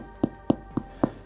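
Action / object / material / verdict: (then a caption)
knock / sourdough bread loaf / bread / underbaked. Four knocks on the underside of a cooled sourdough loaf, baked only 35 minutes from an AI-generated recipe, give dull, short thuds with no ring. The soft, spongy crust marks the loaf as underbaked, though the sound is often mistaken for hollow.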